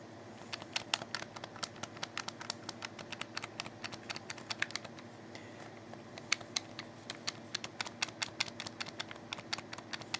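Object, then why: Plastic game controller. Fingertips press and click the buttons on a hollow, black plastic wired Xbox 360 controller. A quick, uneven run of short, sharp, bright clicks sounds over a quiet, steady hiss, each click dying away almost instantly with very little low end.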